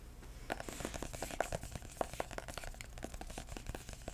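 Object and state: Hardcover book.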